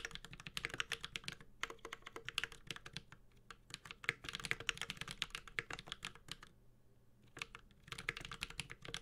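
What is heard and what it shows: A Space65 Cybervoyager 65% mechanical keyboard with an aluminum case, plastic keycaps and Holy Panda switches is typed with the fingertips of both hands. Bursts of quick, bright, dry key clacks centered around 2 kHz pause briefly a few times, including a longer gap around 6.5 to 7.5 seconds.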